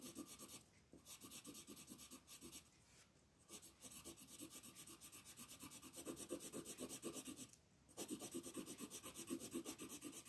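A wooden colored pencil shades quickly back and forth across a flat paper coloring page, making a steady run of dry, scratchy rubbing strokes with a bright rasp. The strokes come in bursts separated by a few brief pauses, and the last few seconds are the loudest and densest stretch of shading.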